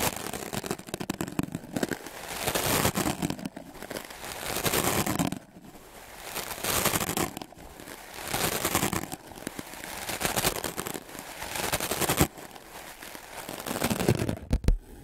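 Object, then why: Melamine foam sponge. A wooden clothes brush with dark bristles is scrubbed fast and hard across a solid white block of melamine foam magic eraser. It makes dense, raspy, crackling bristle scrapes that are bright and broadband. Loud bursts of brushing alternate with quieter, softer passes.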